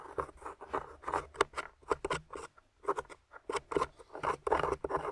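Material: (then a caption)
Plaster. A small metal spoon tool, held in fingers with long nails, scrapes and digs into a solid, grey, crumbly plaster/clay dig-kit block with a plastic dinosaur skeleton embedded in it. The result is a quick run of short, dry, gritty scraping strokes with brief pauses between them, centered in the midrange with faint bright edges.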